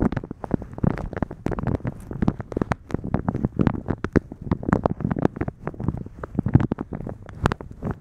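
Fingertips and long nails of both hands rub, scratch and crinkle a thin, translucent plastic shower cap with blue polka dots, stretched soft, hollow and empty over a microphone. A dense, continuous stream of dozens of sharp crinkles and scratches follows, with a heavy, muffled low rumble beneath bright, crackly spikes.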